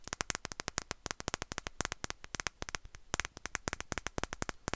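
A small glass perfume bottle with a fluffy atomizer bulb is tapped quickly with long nails close to the mic. A rapid, uneven stream of sharp, bright clicks follows, each dying away almost at once with no lingering ring.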